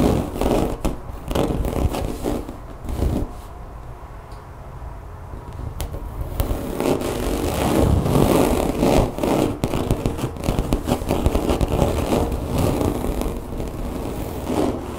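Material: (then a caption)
Rubber. Long nails scratch and scrape back and forth over a thin, solid, brown woven-texture mat that looks like rubber or vinyl. The sound is a dense, crackly rasp with quick uneven strokes, mostly low and mid in tone. It eases into a quieter, softer patch early on, then grows busier and louder for the rest of the clip.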